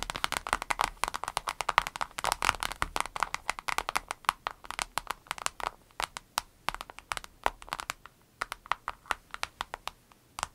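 Long red nails tap and scratch the surface of a small, hollow, transparent vinyl zip pouch with an avocado print and some items inside. Dozens of short, dry, bright clicks come in quick, irregular bursts centered around 1.1 kHz, with faint scratchy rustling between them. The taps are dense and busy at first, then become more spaced out toward the end.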